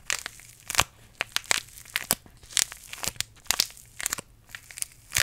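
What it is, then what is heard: Paper tea sachet crinkled. A small green paper tea bag sachet is squeezed and crinkled between the fingers close to the microphone. It makes a quick run of sharp, bright crackles and crunches with almost no low end. Each crinkle stops dead between bursts.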